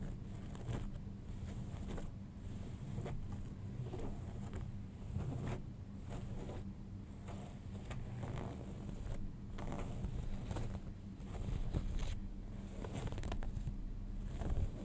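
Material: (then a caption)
Denim. Fingertips and nails scratch the flat front fabric of folded light-wash denim jeans, making a steady run of soft, rough scratching strokes. The sound is quiet and mostly low and rumbly, with faint brighter rasps on each stroke.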